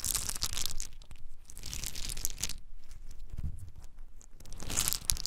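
Small, hard-shelled whole pine nuts cupped in both bare hands are shaken and poured between the palms, some dropping onto a dark surface. Dense bursts of bright, gritty rattling and crunching rise and fall with the motion over a soft low rumble.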